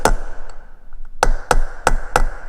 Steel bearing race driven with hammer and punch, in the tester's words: you can hear it just kind of change tone